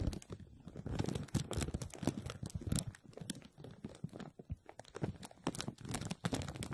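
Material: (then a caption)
Plastic film. A clear plastic bag is stretched over a hollow wire-mesh metal strainer dome, and both hands hold and squeeze it while fingertips rub the film. The result is quiet, dense, continuous crinkling and crackling in quick irregular bursts, weighted toward a soft low rustle with brief sharp bright snaps.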